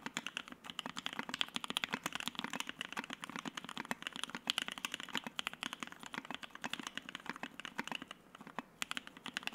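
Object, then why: Mechanical keyboard with plastic keycaps. Fingertips type rapidly on a white Keycult No.1/60 60% mechanical keyboard with Soho switches, an FR-4 plate and white and black PBT keycaps, resting on a desk mat. The board sounds solid, though the switch housings have a hollow tone. Dozens of quick, dry clicks and clacks run steadily throughout, bright in tone with almost no low end and no ring after each press.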